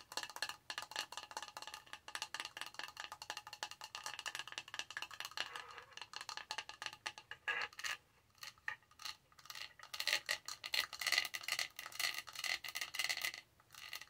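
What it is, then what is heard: Plastic tumbler lid. Long nails tap and scratch across the flat top of a pink plastic studded tumbler lid with a clear straw, on a hollow tumbler. A fast, steady stream of dry, bright clicks and light scratching carries almost no low end, with each tap dying away almost at once. After a brief quiet gap just before the midpoint, the tapping resumes in a louder, denser flurry before easing off at the end.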